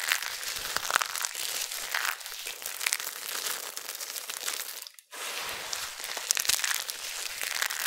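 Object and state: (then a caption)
Dried soap flakes, crushed. Cupped hands with long nails crush and crumple a heap of thin, crispy amber dried soap flakes between the palms. A dense, bright crinkling and crunching runs almost continuously, broken by a brief silence just before the five-second mark before the crumpling resumes.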